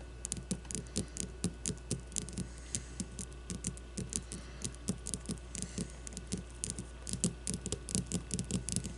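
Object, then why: Leather baseball tapped with fingernails. Long blue-painted nails tap a solid leather baseball resting on a wooden table in a quick, uneven stream of roughly 44 soft taps. Each tap pairs a dull low thud with a bright, crisp click and dies away almost at once, over a steady low hum.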